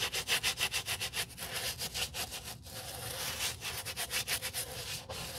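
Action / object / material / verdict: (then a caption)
scrape / leather boot scrubbed with a bristle brush / leather / none. A small wooden bristle brush scrubs the heel and toe of a dusty brown leather boot with a crepe sole edge, held in a gloved hand. Quick, rhythmic back-and-forth strokes make a bright, hissing rub that briefly smooths into a steady scrub before the distinct strokes return.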